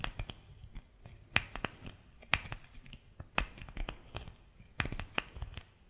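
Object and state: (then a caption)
Bar of soap scratched with nails. A solid white bar of soap, held in both hands, is scratched and pressed with fingernails. It makes a quiet, uneven series of sharp, bright clicks and crisp scratches. Each snap dies away almost instantly, with a faint scraping texture in between.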